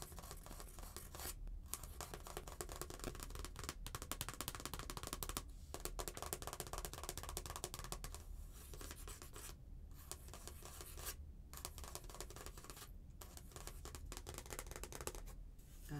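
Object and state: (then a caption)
Glitter paper greeting card. Long painted nails scratch and tap the surface of a thin, flat, stiff paper "Behold" greeting card with a glitter print, held up. The result is a steady, dense stream of dry scratching and light tapping with bright, crackly texture over a low, even rumble, broken by a few brief pauses in the scratching.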